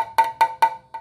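A small tap hammer strikes a carbon fibre road bike downtube four times on an area without voids, giving the sound laminate's reference tone. Each tap is a short, bright tick with a clear pitch near 900 Hz that dies away quickly.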